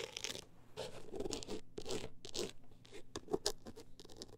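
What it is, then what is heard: Textured hardcover book cover. A single long acrylic nail scratches the woven-texture cover of a closed hardcover book held in the hands. Short, dry, crunchy scratching strokes come in quick irregular bursts, each with a bright hiss and a low papery rasp. The sound is quiet and close, and every stroke stops almost at once with no ring.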